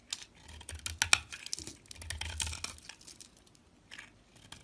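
A box-cutter blade slices and scrapes pieces off a solid cream-coloured bar of soap held in a hand with long nails. The sound is a run of crisp, dry, bright scratching and crackling cuts with a soft low rumble under the louder strokes. Each cut stops short with no ring, and the scraping fades to quieter, sparser scratches toward the end.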